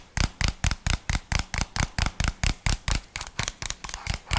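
Fingernails tap and scratch around the body and lid of a small, hollow white plastic jar with a red label. Nineteen short, dry taps come at a fairly steady pace of about two per second, each a low hollow thump with a bright clicky, scratchy edge that dies away almost instantly.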